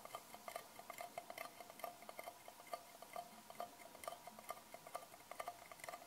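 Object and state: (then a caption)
Metal tin, hollow. Long painted fingernails tap and scratch the textured lid of a small, round, hollow silver metal tin with unseen contents. The result is a quick, uneven run of light, bright clicks with a faint metallic ping near 700 Hz, each dying away almost at once over a soft scratchy hiss.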